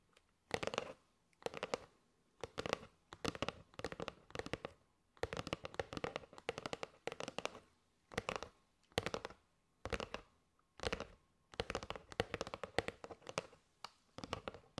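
A kraft cardboard box with a plastic window, full of teal and gold paper straws, is held in both hands and tapped rapidly with long nails on the cardboard face around the window. Crisp, dry, papery clicks come in quick bursts separated by brief pauses, with a hollow mid-range tone and almost no ring after each tap.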